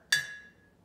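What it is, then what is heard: Full glass jar of water. A glass jar filled with the most water is tapped once with a metal spoon, giving a single bright clink that rings at about 1.7 kHz and fades within about half a second. The fuller jar makes a deeper, lower-pitched sound than the jars holding less water.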